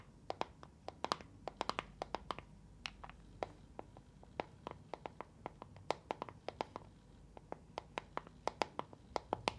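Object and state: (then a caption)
Plastic box with gel beads. A small, clear neon-green hollow plastic box partly filled with water and gel beads is held in both hands, tapped with long nails and shaken so the beads rattle. Many short, sharp, clicky taps with bright edges come in quick, uneven bursts over a soft, steady rattle and hiss.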